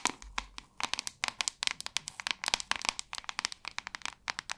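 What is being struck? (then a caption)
Plastic paddle hairbrush back. Long acrylic nails tap and scratch the back of a hand-sized white plastic paddle hairbrush. They make a quick, uneven run of about thirty sharp, bright clicks and crinkly scratches. Each click stops dead with no ring, and there is almost no low end.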